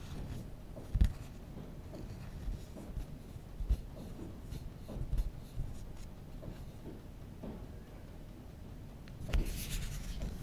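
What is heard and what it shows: Fingertips rub the glass screen of a small, solid glass-and-metal original iPhone, then scratch and tap along its bottom edge around the dock connector and speaker grille. The soft, low, dull rubbing and scratching is broken by three short, sharper taps, with almost nothing bright in the sound.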